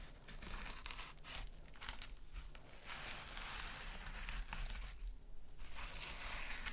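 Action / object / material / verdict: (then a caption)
scrape / metal mesh scrub sponge / metal mesh / none. Long nails scratch and tap a small, flat, rectangular gold metal mesh scrub sponge, the metallic mesh covering a soft filling. Continuous crinkly, tearing-like scratching rises and falls in bright bursts over a steady low hum.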